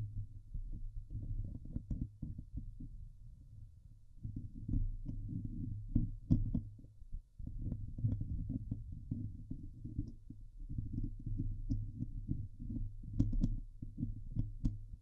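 Long nails scratch the hollow steel mesh dome grille of a Blue Yeti microphone, producing a dense, muffled, low rumbling scrape with quick rasping strokes and occasional bright ticks. The scratching dips quieter around the fourth and seventh seconds before picking back up and continuing to the end.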